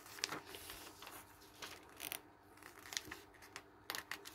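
Fingertips turn the thin pages of an open glossy paper magazine lying on a wooden table and smooth them flat. Soft, bright crinkling swishes and rubbing rustles come in quick bursts with sharp, crisp edges and almost no low end.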